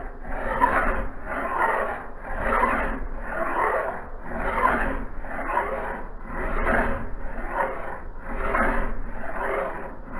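A metal file is pushed by hand along the blade edge of a solid steel axe head, which is clamped in a vise on a blue cloth. Steady, repeated rasping strokes swell and fade at an even pace, with a gritty mid-range scrape centred near 1 kHz and only a faint high hiss above it.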